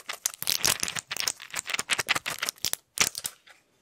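A flat pill blister pack of plastic bubbles with a foil backing is held close to the mic while fingers and nails tap, scratch and crinkle it quickly. The result is a fast, dense run of bright crinkling, crackling and sharp clicky taps with almost no low end. After a brief gap near the end, a final flurry of taps fades out.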